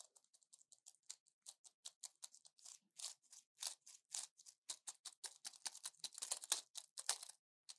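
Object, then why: Plastic and foil pill blister pack. Long nails tap on a small orange plastic blister pack with foil backing, full of pills and held in one hand. The result is a quick, irregular run of dozens of soft, dry, bright clicks with almost no low end. Each click dies away almost instantly.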